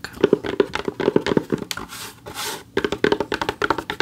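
Rapid runs of fingernail taps give short, dull knocks centred around 400 Hz that stop at once, with a brief stretch of scratchy brushing in the middle. It is the sound of a flat, stiff backing board on a plaque, with slight small-room echo.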